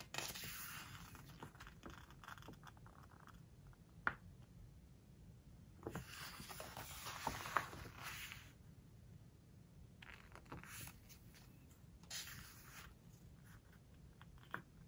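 Fingertips turn the glossy paper pages of a large book and rub them flat on both sides. Quiet, bright rustling and smooth sliding swishes come in long bursts, broken by a few crisp, sharp page snaps. A low, steady hum sits underneath.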